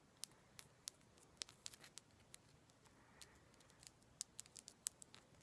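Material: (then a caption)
Quartz. A palm-sized, solid raw rose quartz chunk is tapped with long black acrylic nails, giving nineteen sharp, high-pitched clicks at an uneven pace. Each tap is bright and very short, with almost no ring, over a quiet background.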